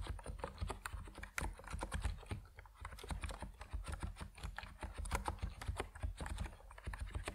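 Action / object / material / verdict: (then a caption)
tap / plastic mechanical keyboard / plastic / none. Fingertips type steadily on an Epomaker NiZ Plum Atom 68, a compact plastic mechanical keyboard with white and purple PBT keycaps. Short, dense keystroke clicks run continuously with a deep low thump under each press and little ring.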